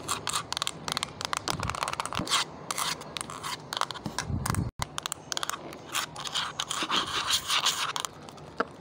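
Long painted nails tap and scratch across the keys and plastic back of a small, hollow, lime-green plastic pocket calculator. The result is a dense run of quick, bright clicks and scrapes with very little ring, pausing for a brief silent break just before the five-second mark.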